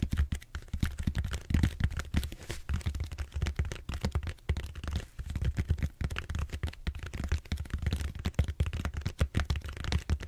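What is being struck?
Bead-foam roller.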